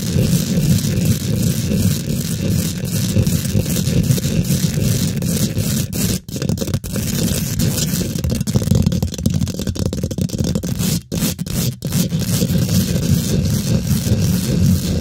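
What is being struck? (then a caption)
Steel wire-mesh microphone grille. Long pink glitter nails scrape fast across a hollow, rounded steel wire-mesh microphone head, making a dense, continuous rumbling scratch heavy in low tones with a gritty crackle. The scraping runs almost without pause, dropping out briefly a couple of times before resuming at full strength.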